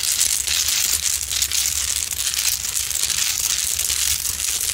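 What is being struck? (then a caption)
Large rock-salt lamp with rough crystalline surface. Long pointed nails scratch the rough crystalline top of a large solid rock-salt Himalayan salt lamp up close. The result is a steady, dense, bright scratching and crinkling crackle that stays at an even level throughout, with a faint low hum underneath.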